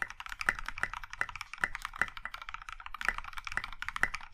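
Both hands type steadily with their fingertips on a compact Iron 165 mechanical keyboard in a maroon metal case with dark grey and pink plastic keycaps. Rapid, overlapping keystrokes make crisp, short clacks centered around 2 kHz, with louder accented strikes popping out every half second or so. Each click dies away almost instantly.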